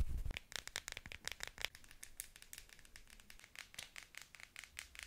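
Long nails tap and scratch along the barrel of a pink plastic novelty pen topped with a small figure and held upright. After a brief low thump at the start, a rapid run of sharp, bright clicks and crackly scratches follows, each dying away almost at once, with quiet gaps between them.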